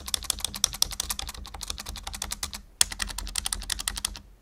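Fingertips type quickly on a full-size black plastic membrane keyboard resting on a wooden desk, producing a dense run of short, bright clicking keystrokes. The typing pauses briefly just before the three-second mark, starts again with a sharper burst, and then fades out at the end.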